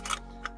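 The mock cleaning rod under the barrel of a CYMA AK-105 (CM040D) replica rifle rattles loosely as the rifle is shaken. Two short, bright metallic clicks are heard, the first a brief cluster and the second a single tick. The rod is loose and rattles more than it should, and it has fallen out once.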